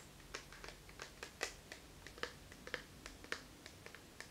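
A small, hollow, flat black plastic eyeshadow palette with a clear lid is held in both hands and tapped with the fingertips and nails. About 18 sharp, bright clicks come at an irregular pace over four seconds, each dying away almost instantly over a quiet background.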